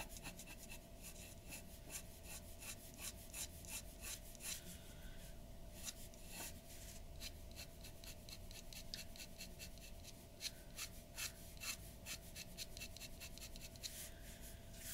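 The nib of a glass dip pen scratches in quick strokes across a large, flat sheet of white drawing paper resting on a wooden table. The bright, dry scratches come in rapid bursts over a quiet, steady background with a faint constant hum.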